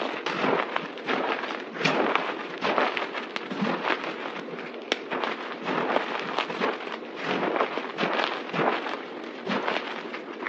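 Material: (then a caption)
Soap. Hands press, squeeze and scrunch a pile of white, crushed dry soap powder on a table with their fingertips and palms. The result is a steady stream of dense, crisp crackling and crunching with many small rustling bursts, bright and airy with almost no low end.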